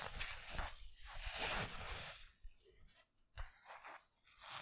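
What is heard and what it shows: Fingertips and nails scratch and rub the stitched twill lettering on the front of a black Bugs basketball jersey made of thin polyester mesh. Dry, crunchy, bright scraping swells and fades in uneven strokes, with soft low thumps beneath and quiet gaps between.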